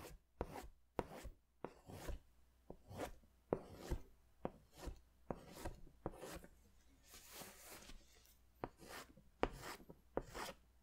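A pink pastel crayon is scratched in strokes across a large white paper sketch pad. About eleven quiet, dry, scratchy strokes are heard, each a short rasping burst with no ring, some stretching into a longer hissy rub, all set against low background hum.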